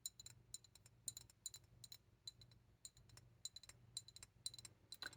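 An old glass specimen bottle full of air bubbles is tapped repeatedly, giving quick, bright clinks that die away almost at once. A steady low hum runs underneath the taps throughout.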